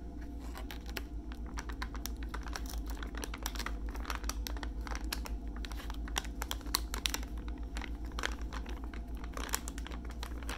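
A full soft plastic makeup wipes pouch with a hard white plastic flip lid is held close and tapped and scratched by fingertips and nails, then tilted at the end. Quick, irregular dry clicks and crinkly scratches sound over a steady low hum, each tap short with no ring.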